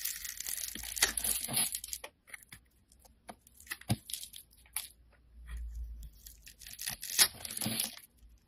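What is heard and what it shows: A utility knife blade scrapes and carves a solid pink bar of soap held in the hand, its surface pre-scored in a grid so small cubes crumble off. Dry, crunchy scraping and crumbling bursts come in uneven clusters, mostly bright and high with little low end. Brief quiet gaps separate the clusters.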